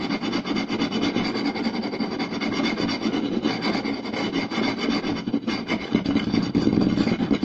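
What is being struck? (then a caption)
Round wooden plate. Both hands scratch the grain of a round, solid wooden plate with a rim using short nails and tap it with fingertips, fast and aggressive. The result is a dense, continuous rasping scratch mixed with quick, woody taps centered in the low mids around 200 Hz, at a steady level throughout.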